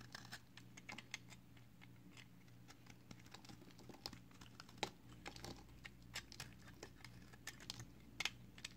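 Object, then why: Layered bar soap shaved with a blade. A box cutter blade shaves thin slices off the white side of a narrower, solid green and white layered soap bar held in the fingers. Quick, bright scraping ticks and crisp shaving clicks sound over a steady low hum, and the thin flakes come away one after another.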